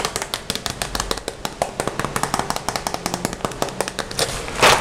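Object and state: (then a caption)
Vinyl pencil case. Fingertips tap and scratch the front of a closed, hollow, red glossy vinyl Hello Kitty pencil case, including near its glitter lettering. A rapid run of many short, crisp taps with bright clicky edges is heard over a light scratchy rustle. The sound builds into a brief louder scratch at the end.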